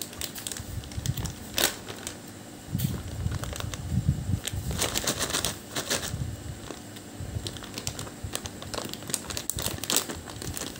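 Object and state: Plastic candy bag crinkled.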